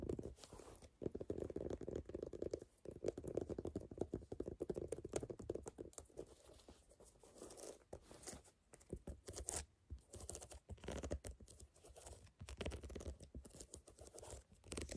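Long nails scratch across the tread ridges of a brown, ridged rubber outsole on a canvas sneaker held in the hands. The result is a dense, continuous crackling and rasping texture with a low rumbling undertone and short bursts of brighter scraping.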